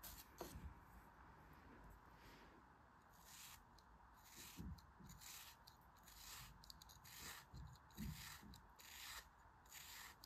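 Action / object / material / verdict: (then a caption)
scrape / molded kinetic sand figure / kinetic sand / none. A palm-sized, solid pink kinetic sand dog face, molded and held in the hand, is sliced repeatedly with a thin craft knife blade in parallel cuts. Each stroke makes a soft, crunchy scraping with a bright grainy hiss, and the cuts come one after another with short pauses between them.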